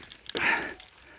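A large metal cowbell, found on the forest floor during a metal-detecting outing, is shaken to show that it still rings. A few faint clicks lead into one bright clank with a ringing tone around 1.8 kHz that fades out within about half a second. The bell still rings.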